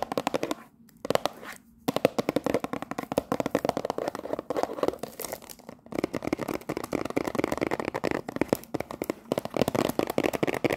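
A cellophane-wrapped cardboard tea box has its top and sides quickly tapped with long nails. The result is a rapid stream of dry, crisp clicks with a crinkly plastic edge, broken by a few brief pauses near the start and around the six-second mark.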